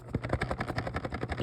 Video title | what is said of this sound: Amazing Digital Circus Animiniz Unboxing Video - Sideshow Series | You can even hear a jingle a jiggle. You hear a noise if you shake it.